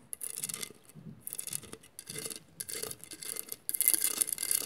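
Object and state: Glass mosaic vase scratched with nails.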